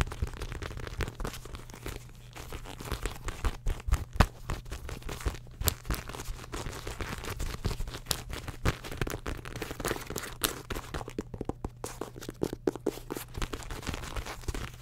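A medium beige ruched faux leather shoulder bag with a gathered handle is held up close and its soft, hollow body is scratched and tapped with long pink acrylic nails. The result is dense, fast crinkly scratching and crunchy taps with short, dry clicks, over a steady low hum.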